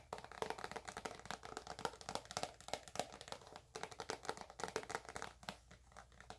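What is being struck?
Plastic tube of cream.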